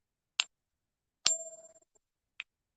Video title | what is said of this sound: Foreign silver at melt plus a rarity. | now this is a copper nickel Churchill coin if you ping it wow that's high pitched